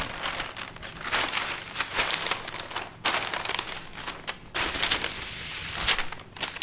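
A thin sheet of parchment baking paper is unrolled on a fabric tablecloth, then pressed and smoothed flat with open palms and fingertips. The result is bright, papery crinkling and rustling in uneven bursts, with a few sharper crackles and little low end.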